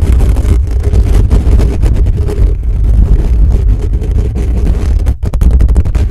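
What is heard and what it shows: The bare metal mesh grille of a black condenser microphone is scratched fast with the fingertips of both hands from above. The result is a loud, dense, continuous rumbling scrape concentrated almost entirely in the low end, with a brief dip in level just past the five-second mark before the scratching resumes.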